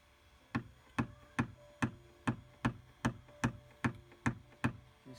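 A hand taps a PDR tap-down tool with a black plastic tip against the edge of the painted steel door panel of a silver BMW 328d xDrive, near the door latch on the thin sheet-metal hollow door shell, to knock down a crease dent. Eleven sharp, short knocks are heard at a steady pace of about two per second, each a dull low-mid thud with a brief bright click and almost no ring, ending with a softer tap.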